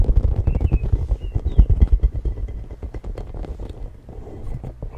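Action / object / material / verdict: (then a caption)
tap / hollow plastic spiky ball / plastic / none. Fingertips and nails tap and scratch the spiky surface of a hollow, hand-sized, pink translucent plastic spiky ball held close to a FIFINE K690 microphone. Rapid, irregular, boomy low thumps crowd together with faint scratchy squeaks on top. The tapping is loudest early and grows softer toward the end.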